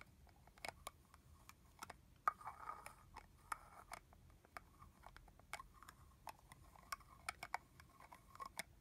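Long nails tap the hollow plastic cap and neck of a red plastic body-mist bottle with liquid inside. Many quick, dry clicks come in irregular bursts, each with a faint hollow tone around 1.2 kHz and a bright edge. Brief rustling swishes fill the gaps, and the whole clip stays quiet.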